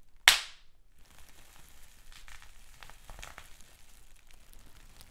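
Fingers squeeze clear plastic bubble wrap with large air bubbles, and a single bubble bursts with one sharp, bright pop that dies away almost at once. Faint, high crinkling and crackling of the plastic follow as the wrap keeps being handled.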